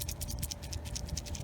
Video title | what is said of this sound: 115lb! Fight FOOD Shortage Fall Vegetable Garden Harvest 2021 (Beating the FROST) -Guten Yardening | if you shake it you can hear the seeds inside rattling around this one is ready for us to collect seeds from